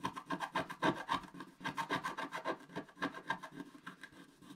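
A wooden stylus scratches the black coating off a flat scratch-art paper page in dense, quick strokes. The result is a rapid, somewhat irregular series of dry, rasping scrapes with a papery, mid-range grit. The strokes are louder at first and grow softer toward the end.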